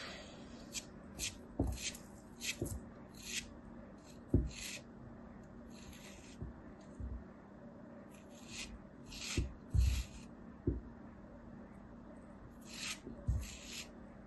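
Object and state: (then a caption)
Kinetic sand cone being scraped. A thin metal knife blade shaves and scrapes the surface of a small, solid, molded kinetic sand cone held in the hands. Soft, gritty rasping strokes come in bright hissy bursts over a quiet background, with eight low, dull taps where the blade catches the sand.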